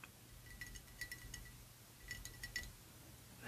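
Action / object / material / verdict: tap / ribbed glass perfume bottle / glass / none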